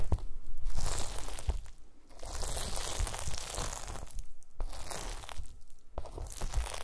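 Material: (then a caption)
Gelatin. A pile of small pink translucent solid gelatin jelly cubes on a white mesh mat is pressed and crushed with the round end of a wooden masher. Dense, irregular crunchy crushing and squishing sounds come in waves, with low thumps underneath and a bright crackle on top.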